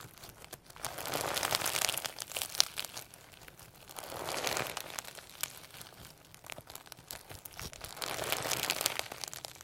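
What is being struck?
Firm slime packed with sequins and beads.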